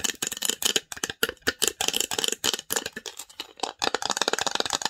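Long nails tap and scratch quickly across the engraved lid of a small, hollow, varnished wooden box. The result is a dense run of dry, bright clicks and scrapes that die away almost instantly, with a brief pause near the middle before the tapping resumes.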